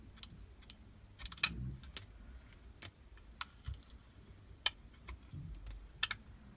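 A metal utility knife blade shaves thin curls off a solid, translucent purple soap block held in hand. About ten short, crisp, bright scraping clicks are heard over a low, quiet background, each one dying away almost instantly.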